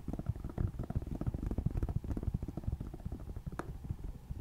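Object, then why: Plastic tablet back. Long nails of both hands tap rapidly on the black plastic back of a tablet resting on a lap. The result is a quick, irregular patter of soft, dull, low taps that stop instantly with no ring, plus one brighter click near the end.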